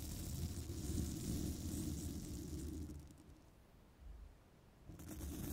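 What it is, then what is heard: Metal microphone mesh grille being brushed. A small bristle brush strokes across the hollow woven metal mesh grille of a microphone, producing a dense, rumbling scratch with a bright hiss on top. The brushing is steady for about three seconds, fades to a quieter, softer rustle, then picks back up near the end.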